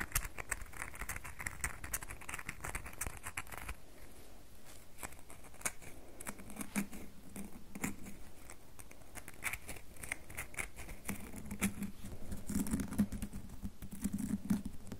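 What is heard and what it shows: Long nails tap and scratch the sides of a solid red bar of soap held in the hand, making a quick, dry, patter-like stream of tiny clicks and scrapes. Each tap is short and dies away almost instantly, with brighter crisp scratching early on and a soft low tone underneath in the later taps.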